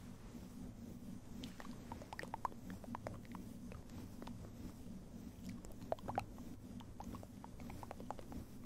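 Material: Synthetic fur.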